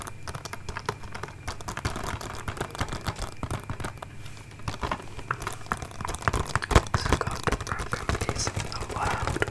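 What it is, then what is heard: Plastic DVD case. Long nails tap rapidly on the front of a closed, hollow, hand-sized plastic DVD case with a printed paper cover. The result is a quick, uneven run of short, dry clicks over a dull low body, each tap dying away almost at once.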